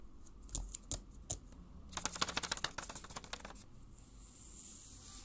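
Long pink paper cone nails worn on the fingertips tap a small handmade white paper box, hollow and closed, with an iPhone drawn on its lid. A few separate sharp clicks come first, then a quick run of bright, dry taps that stops almost at once before fading into quiet hiss.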